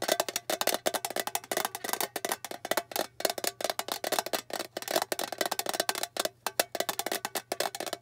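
A small, flat, rectangular blue metal tin with a printed bow, hollow inside, is tapped quickly with long fingernails on its lid and edge. The result is a rapid, uneven run of dry, clicky taps with a hollow midrange tone around 640 Hz and a bright edge. Each tap dies away almost instantly.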